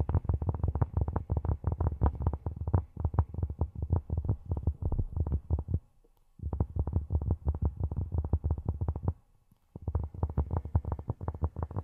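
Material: Cork.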